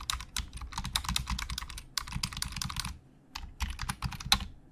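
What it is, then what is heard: Plastic computer keyboard. Fingertips type fast on a black plastic Logitech keyboard with hollow plastic keys. Rapid bright, clacky keystrokes with a soft low thump run in quick bursts, pause briefly, then resume. Each tap dies away almost instantly.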